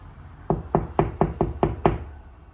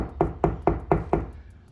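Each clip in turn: First: hollow drywall between studs. Second: drywall over a stud, solid.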